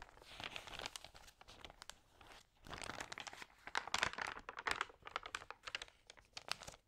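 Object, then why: Glossy paper magazine. Fingertips press and rub the wrinkled, lightly wet glossy pages of an open magazine and turn them. The result is dense, bright crinkling and crackling in irregular bursts, with sharp snaps and soft rustles in between.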